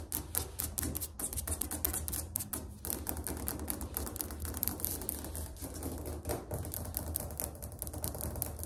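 Fingernails tap rapidly on a ceramic floor tile, making a fast, continuous stream of sharp, bright clicks that die away almost instantly. A steady low hum sits underneath the tapping throughout.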